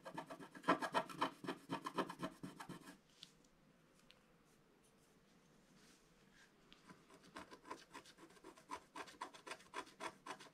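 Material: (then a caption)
Coated paper. A wooden stylus scratches the black coating off a flat scratch-art paper page in dense, quick strokes, giving a rapid, rhythmic raspy rubbing. The scratching is busiest for the first three seconds, falls to near silence with only faint scrapes, then resumes in a steady run of strokes toward the end.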